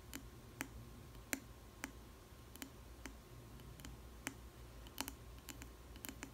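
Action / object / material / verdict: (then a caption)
tap / glass food container with plastic lid / glass / none. Long nails tap the base and sides of a clear square glass food container with a plastic lid and bread inside. Sharp, brief, bright clicks come at irregular intervals, each dying away almost instantly, over a faint low steady hum.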